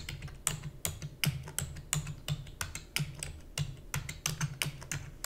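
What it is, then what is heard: Plastic computer keyboard being typed on. Fingertips with long natural nails rapidly press the keys of a black full-size plastic computer keyboard with hollow key housing. The typing gives an uneven stream of sharp, bright clicks over a low, hollow thump, each keystroke dying away almost at once.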